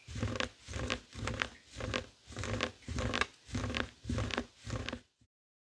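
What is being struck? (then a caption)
Woven fabric mat. Fingertips and short nails of both hands scratch back and forth over a flat, thin, hand-sized heart-shaped woven textile mat with a pastel pink, blue and white tapestry-like weave, lying on a dark wooden table beside an untouched microphone. Eight rhythmic bursts of dry, crinkly scratching swell and fade, each with a low rumbling base and bright raspy streaks. A faint short tick follows before silence.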